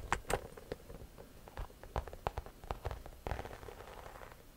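A cream croc-embossed leather or faux leather shoulder bag, medium size and hollow, is held up and scratched across its front with long nails. Sharp, crackly scratches and taps fall in uneven bursts with short rasping drags in between. They have little ring and a dull low thump beneath them.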